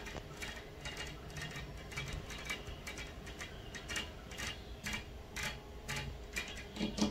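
Long fingernails of both hands tap and scratch on the outer surface of a large, flat glass hotel window pane, heard from inside. Quick, light, bright clicks come in irregular bursts over a soft scratching texture and a faint low background rumble. Each tap dies away almost at once.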